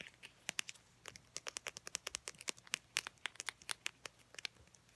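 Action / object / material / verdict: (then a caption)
tap / small soft plastic toothpaste tube with plastic cap / plastic / none. Long painted nails tap and scratch a filled mini Crest toothpaste tube made of soft plastic laminate with a white plastic cap. About thirty quick, bright, clicky taps with a crinkly edge come in an irregular run over quiet, faint scratching, each dying away almost instantly.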